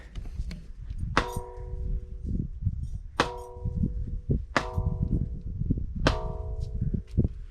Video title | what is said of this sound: Garjai Mata Dham | यह कोई घंटी की आवाज नहीं है यह उसी चट्टान की आवाज है